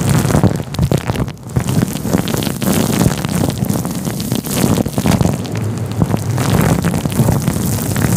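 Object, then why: Faux fur microphone windscreen. A fluffy grey-white synthetic fur microphone windscreen is stroked and rubbed with the fingers of both hands. It makes a steady, dense, low rumbling scratch full of quick crackles. There are no clear pauses.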